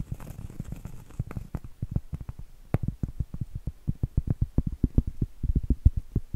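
A round solid cork trivet is held up while acrylic nails tap and scratch its face. The result is a quick run of soft, dull, low taps with very short decay, mixed with faint scratching.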